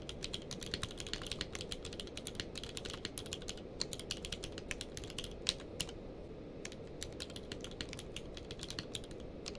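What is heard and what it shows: A full-size plastic mechanical keyboard with a blue-grey case and white and grey plastic keycaps lies on a blanket while both hands type rapidly with their fingertips. The result is a fast, steady stream of crisp, bright key clicks with short, dry decays over a soft low rumble, with an occasional louder strike standing out.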